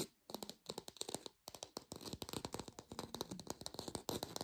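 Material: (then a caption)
Plastic. A textured artificial plastic orange is tapped quickly with a lo-fi sound. The result is a dense run of short, dry taps with a bright click on top and a slight hollow knock around 465 Hz, broken by two brief pauses.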